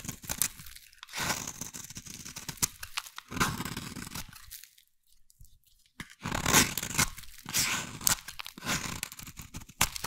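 A metal blade scrapes a solid, hand-sized brown bar of soap into flakes. Bursts of crisp, bright scraping and crunching come in runs, with a near-silent pause in the middle before the carving resumes.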